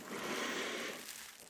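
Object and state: Nothing is struck.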